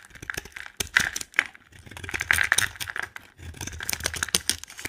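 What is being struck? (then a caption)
Bar of soap. A utility knife blade scrapes and carves white shavings off a solid, dry, yellow polka-dot bar of soap held in the hand. Dense, crisp scraping and crackling clicks come in quick bursts, with bright, high-pitched edges and almost no low end. Each sound is short and dry, with no ring after it.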